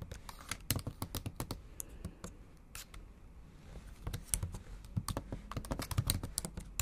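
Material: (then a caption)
Plastic. Long acrylic nails type on the black plastic keys of a MacBook Pro set in an aluminum body. A fast run of sharp, clicky taps with bright ticking edges and a soft low thud underneath slows into a quieter stretch midway, then picks back up.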